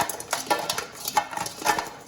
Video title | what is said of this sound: The Truth About Air Fryers. Do They Actually Work? | that is so crispy it's like literally you can hear the crispiness on the bowl